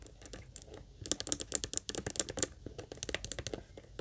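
Long nails tap quickly across the top, edges and handle of a small, hollow pink leather heart-shaped purse, held and then set on a table. About twenty crisp, bright clicking taps come in fast, uneven bursts, with a dry scratchy edge, little low end and no ring after each hit.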